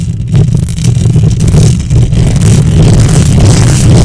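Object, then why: Metal mesh microphone grille. Long nails on both hands scratch the hollow metal mesh grille of a silver condenser microphone. The result is a loud, continuous, rough scraping that comes through mostly as a deep, boomy rumble, with faint grainy texture above it and no distinct pauses between strokes.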